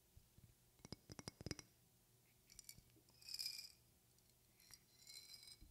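A medium glass perfume bottle with a flower decoration and a silver cap is held near the mic and tapped and scratched with long painted fingernails. A quick run of sharp, bright glassy clinks is followed by softer scratching and rubbing bursts with a high shimmer, and each tap dies away almost instantly.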